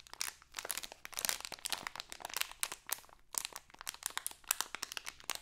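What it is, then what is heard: Crinkly plastic candy bag. A small printed crinkly plastic Halloween candy bag is held in both hands while being crinkled and scratched with long acrylic nails. A dense, rapid run of sharp, bright crackles and crinkles fills the clip, with brief pauses between bursts and almost no low end.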